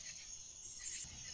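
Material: Nothing is struck.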